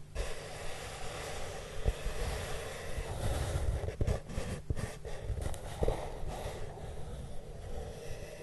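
Both hands rub the hollow surface of a large, flat, brown corrugated cardboard box with their fingertips and short nails. The result is a steady, dull, low-pitched rustling rumble, with occasional soft thumps and brief swells in loudness throughout.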